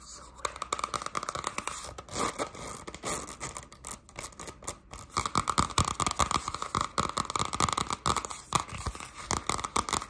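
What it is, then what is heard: Spiral notebook with cardboard cover. A hardcover spiral-bound notebook, about A5 size with a printed navy sun-and-moon cardboard cover, is held upright while long pastel acrylic nails scratch and tap quickly on its cover. The result is a fast, irregular stream of sharp clicks and dry scratching, bright and papery, with almost no ring after each hit.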